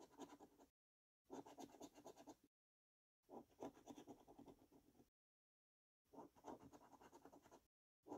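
A coin scrapes the latex number panels off a thin Mega Multiplier paper scratchcard held flat by fingers. It makes quiet bursts of rapid, grainy scratching with a mid-range rasp and a bright, papery hiss. Four scratching runs are separated by short silences, and a fifth begins at the very end.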